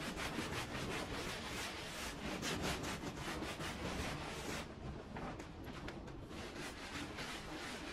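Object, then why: Wet woven pile rug scrubbed with a hand brush. A handheld brush scrubs a muddy, bright patterned pile rug lying flat on the floor and wet with suds. Fast, uneven back-and-forth strokes make a steady wet, bristly swishing with bright hiss and a low rumble underneath, easing slightly in the second half.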